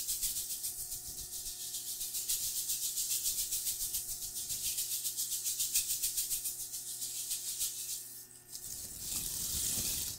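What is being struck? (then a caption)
Plastic foil tinsel pom-pom. A large pink metallic plastic-foil tinsel pom-pom is held by its handle and shaken close to the microphone, its strands possibly brushing the mic. Fast, steady bursts of bright, crinkly, hiss-like rustling repeat about three to four times per second for roughly eight seconds. After a brief dip, the sound turns into a denser, continuous brushing rustle with more low-end thump until the end.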